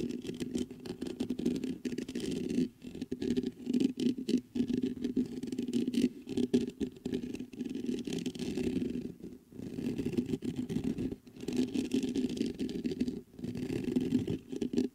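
Fingertips scratch the mesh grille of a black metal USB microphone, making a dense, rustling scrape with a low-mid hum around 250 Hz. The scratching runs in bursts separated by brief silent gaps.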